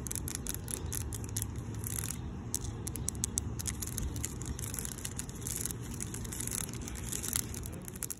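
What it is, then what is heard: Coated expanded-metal bench. Long decorated pink nails scratch and tap across a black coated expanded-steel mesh picnic bench with diamond openings. A steady low scraping rumble runs throughout, broken by many quick, bright ticks and crackles as the nails catch the mesh.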